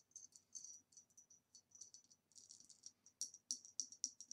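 Long nails tap quickly on the flat base and rounded shoulder of a hollow green ribbed glass vase standing upside down on its rim, making about eighteen light, bright, high clicks at an uneven pace. Each tap is crisp and dies away almost at once, and the final few taps land harder and louder.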